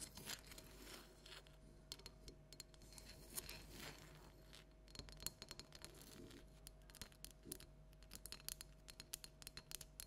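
A small, hollow orange plastic light-up jack-o'-lantern is held in both hands and tapped with long nails. The result is a quiet stream of quick, dry, bright clicks and light scratchy taps over a faint steady hum.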